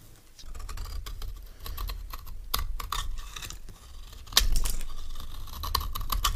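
A metal knife blade shaves a solid, palm-sized orange soap bar in short scraping strokes, with crumbly shavings piling on the bar and falling off. A run of quick, dry, crisp scrapes and ticks sounds over a low, steady rumble, and a few sharper, brighter strokes stand out near the middle and end.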